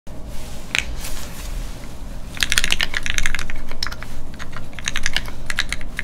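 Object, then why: Mechanical keyboard with plastic keycaps in a metal case. Fingertips of both hands type continuously on a full-size Keycult No2 mechanical keyboard with Gateron Ink switches, a brass plate and red plastic keycaps, its solid metal case sitting flat on a desk mat. Short, sharp, bright keystroke clicks arrive in an uneven stream over a steady low hum. The typing grows denser and louder after the first couple of seconds.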